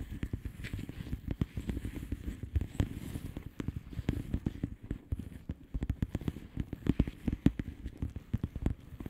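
Long polished nails tap and scratch across the bubbles of a flat, hollow plastic bubble-wrap mailer lying on a surface. The result is a quick, steady stream of short, dry, muffled taps with low, soft thuds and very little bright hiss. Each tap dies away almost instantly.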